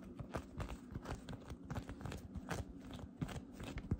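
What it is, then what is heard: Cotton candy cloud slime being squeezed. Fingertips with long dark red painted nails slowly grip, stretch and press a palm-sized, soft, light-blue fluffy cotton candy cloud slime blob that holds together as a solid mass, the nails also poking into its surface. The result is a dense, continuous stream of soft, low, crunchy crackles and squishy pops, with a few slightly louder pops near the end.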